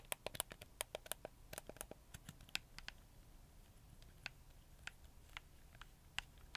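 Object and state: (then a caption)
Plastic game controller buttons clicked. Fingertips and nails click and scratch the buttons and D-pad of a hollow, handheld, black hard-plastic PlayStation 4 controller. Sharp, bright clicks come in a dense run over the first two seconds, then thin out into scattered taps with faint scratching between them. Each click dies almost instantly, over a quiet low hum.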